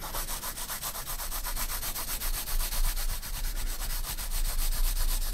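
A graphite pencil cross-hatches on the right side of a spiral-bound paper sketchbook page, making a steady run of quick scratchy rubbing strokes at about four per second. The strokes give a dry, bright hiss over a faint low rumble and grow slightly louder toward the end.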